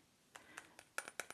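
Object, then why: Selenite crystal point. Eight light taps on a selenite crystal point, a birthday gift kept as a cleansing crystal, each giving a short, bright click that dies away almost at once. The taps grow slightly louder and closer together toward the end.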